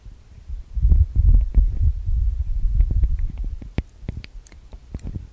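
Fingertips tap and rub the metal mesh grille microphone capsules of a TASCAM DR-40X recorder. Close, boomy low thumps and muffled rubbing rumble together at first, then give way to quieter, sharper taps with bright clicky edges.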